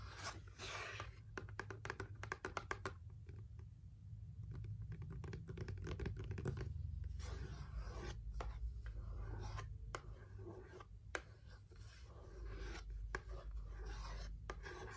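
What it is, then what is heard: Cardboard box. Long acrylic nails and fingertips tap and scratch the top of a closed, printed cardboard box for a nail lamp lying flat. Quick, irregular dry taps mix with soft rubbing and scratching, with a low rumble underneath.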